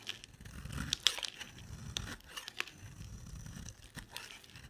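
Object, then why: Soap bar. An oval, solid, dry white bar of soap is held in the hand and shaved with a utility knife blade, sending white flakes falling off. Quiet, bright scraping and crinkly crackling run throughout, broken by short, sharp clicks, with the loudest snap near the one-second mark.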